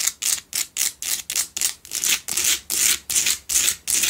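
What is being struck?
Pink salt block candle holder.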